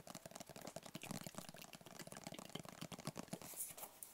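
A closed, hollow black rigid cardboard gift box with a white label is held in the hands and tapped rapidly with the fingertips. The quiet, dry taps each stop almost instantly, with a low hollow thump under brighter clicks.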